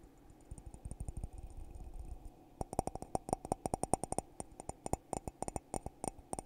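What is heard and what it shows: Fingertips tap inside and on the rim of a hollow, empty red glittery glass coffee mug held in one hand. For the first couple of seconds the taps are soft and dull with low thumps. They then turn into quick, sharp clicks that carry a short glassy ring and a bright edge.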